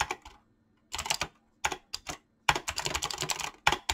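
Fingertips type quickly on a mechanical keyboard with clicky switches and PBT plastic keycaps. Bright, crisp key clicks come in short bursts separated by brief pauses. The final stretch is a denser run, and each click dies away almost instantly.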